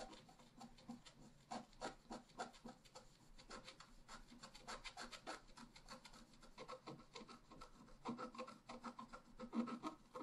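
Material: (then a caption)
Coated paper. A pointed wooden stylus scratches a flat black-coated scratch-art paper card resting on a table, making dense, quiet scratching strokes. The short, uneven rasps repeat rapidly with a dry, papery texture and brief brighter bursts.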